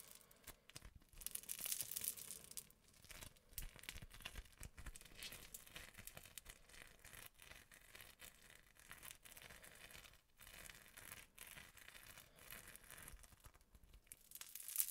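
Crunchy foam-bead slime is pulled apart into stringy strands and pressed between fingertips. A dense run of soft, bright crackling and crinkling pops goes on throughout, with louder bursts near the start and the end.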